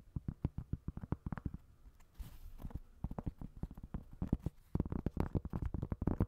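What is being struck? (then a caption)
Cork coaster. Fingertips and nails tap and scratch the porous surface of a round, flat, solid cork coaster held in the hand above another cork coaster. Quick, dull, low-pitched taps come in bursts, with a short, soft, breathy scratching passage near the middle. The taps are dry, with almost no ring after each hit.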